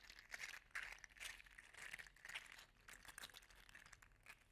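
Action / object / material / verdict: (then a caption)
shake / 3D printed plastic articulated slug toy / plastic / none. A hand-sized, segmented, green-gold metallic 3D-printed plastic articulated slug toy is rolled over a hand and squeezed between the fingers, so its segments click together. The result is a quiet, irregular stream of bright, crinkly clicks and small rattling bursts.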